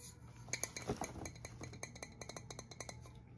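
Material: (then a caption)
Aluminium. Fingernails tap the coated cups of an empty, medium-sized granite-coated aluminum four-cup egg pan, a dark grey speckled non-stick pan of hollow cast metal held up by hand. The result is a quick, uneven run of light, bright clinks with very short, high ringing over a steady low hum.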